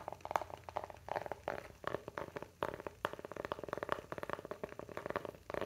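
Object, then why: Small flat wooden coaster. A round, flat, solid light-wood coaster, palm-sized and held in both hands, is scratched and tapped along the grain with fingernails. The result is a quiet, steady run of quick, dry, mid-pitched taps and scratchy clicks with no ring, coming in irregular clusters with brief pauses between them.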